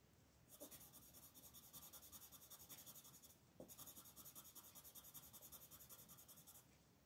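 A blue colored pencil, held in a hand with long red nails, shades a flat paper coloring page lying on a table in rapid short strokes. Two quiet runs of fast, bright scratching and rubbing are heard, separated by a brief pause.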